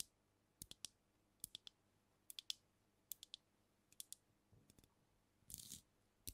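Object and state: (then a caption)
Glass bottle tapped with fingernails. Long nails tap a brown glass cognac bottle held tilted over the microphone, making sharp, bright clicks in quick groups of two or three. The taps ring around 3.4 kHz and die away almost instantly, with a brief rougher scrape-like burst near the end.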